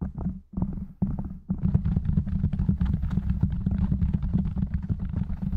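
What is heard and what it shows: Fingertips of both hands rapidly tap and scratch the soft, porous black foam windscreen covering a silver condenser microphone. It makes dense, muffled low thumps and rustling scrapes, heavy in the bass. Short bursts with brief pauses give way to a continuous, fast patter after about 1.5 seconds.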